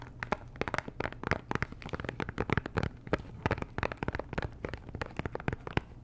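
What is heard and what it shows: Long nails tap and scratch the sides and edges of a small, hollow pink Chanel perfume box made of cardboard and wrapped in cellophane. A rapid, irregular run of sharp, dry clicks and crinkly scratches fills the clip, each tap dying away almost instantly over a faint steady low hum.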